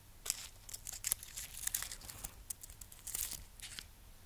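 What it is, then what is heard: Wax-coated amaryllis bulb. Long manicured nails scratch and tap the textured surface of a hand-sized amaryllis bulb sealed in a solid, glittery red wax shell, with a green shoot and a metal wire stand. Quiet, bright, crackly scratches mix with quick dry taps that stop sharply and do not ring.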